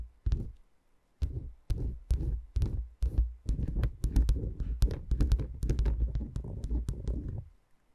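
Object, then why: Wooden peg massager. Long dark-painted nails tap and scratch across the tops of a dome-shaped wooden peg massager, a cluster of small, solid, light wooden cylindrical pegs. Spaced taps at first give deep, muffled thumps with sharp, bright clicks. They then run into a quicker, continuous stretch of tapping and scratchy rustling before fading out.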